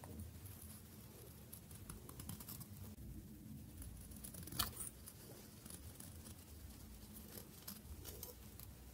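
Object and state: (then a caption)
Dry bar soap being shaved. A solid bar of dry orange-brown soap, held in the fingers, has its edge shaved with a metal blade into curled shavings. Soft, crisp scraping clicks and patter run throughout over a low steady hum, with one sharper, brighter snap midway.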